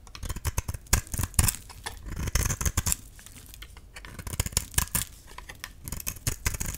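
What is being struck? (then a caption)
Bar of dry soap shaved with a metal blade. A metal utility-knife blade makes repeated shaving and scraping strokes across a solid, dry cream soap bar with red-painted edges, held in the palm. Dense, dry, crisp scrapes and crunches come in quick irregular bursts, with a low thud-like body under bright, high scratchy edges. The sound is close and quiet.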